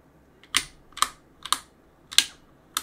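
A gloved hand rubs a cloth across the plastic keycaps of a backlit mechanical keyboard, pressing the keys down. Five sharp, bright key clacks sound at uneven intervals, some with a faint click just before. Each clack dies away quickly into near silence.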